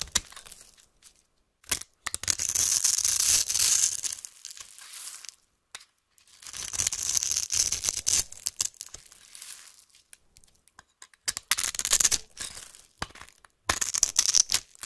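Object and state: Bar soap scraped with a knife.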